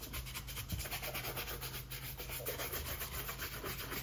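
A brown leather cap-toe oxford, hollow and empty with a shoe tree inside, held in a gloved hand, is brushed vigorously with a handheld shoe-shine brush in rapid back-and-forth strokes over the upper. A steady, bright rubbing swish repeats with each stroke over a low hum.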